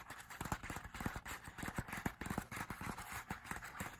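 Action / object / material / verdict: tap / paper album lyric booklet / paper / none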